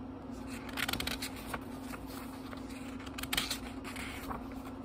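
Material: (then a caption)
Paper. Fingertips flip through the thin paper pages of a small, thick book, making soft, bright rustles and crisp flicks. A few louder page snaps come near the start and again past the middle, over a steady low hum near 250 Hz.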